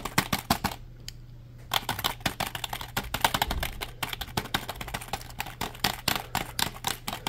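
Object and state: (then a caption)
Plastic computer keyboard. A compact black plastic computer keyboard is held upright in the hands while its keys are tapped rapidly with the fingertips. The result is a fast stream of sharp, dry, bright clicks with very short decay, a brief pause near the one-second mark, and a faint steady low hum underneath.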